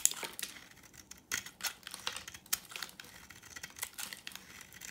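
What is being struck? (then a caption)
Oval soap bar. A solid, dry oval bar of yellow vintage soap, held in the hand, is scraped and shaved with a utility knife blade into crumbly flakes. The blade makes a quick series of dry, bright, crackling scrapes with short crisp bursts and almost no low end. Each stroke cuts off sharply with no ring.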